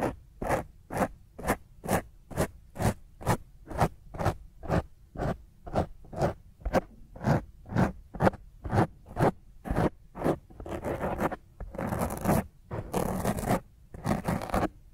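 Long nails scratch the top of a black foam microphone windscreen in quick, rough strokes, about two per second, each a short dry, rustling scrape with a heavy low rumble. Toward the end the strokes stretch into longer, continuous scratching bursts.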